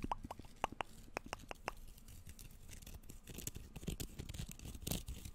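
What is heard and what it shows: A flexible bamboo sushi rolling mat, about hand-to-forearm size and made of thin bamboo slats tied with string, is held flat and upright and scratched and flexed with fingertips and nails, then rolled into a hollow tube and run along its slats close to the microphone. Sharp, dry wooden clicks with a bright edge come first, giving way to a denser, continuous scratchy rattling of slats over a low rumbling background.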